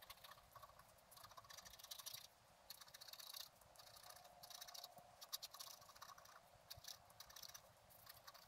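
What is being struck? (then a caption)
Black-coated scratch art card scratched with a wooden stylus. A wooden stylus scratches away the black coating of a flat, black-coated scratch art card resting on a table. Quiet, bright, dry scratching strokes come in short rapid bursts and longer raspy passes, with very little low end and no ring after each stroke.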